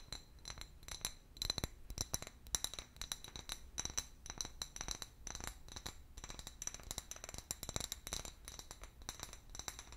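An empty, medium-sized hollow clear glass bottle with a paper label is tapped and scratched with long fingernails. Quick, bright clinks and chinks come in a rapid, uneven series, mixed with thin scraping. Each tap dies away almost instantly with a faint high ring at a low overall level.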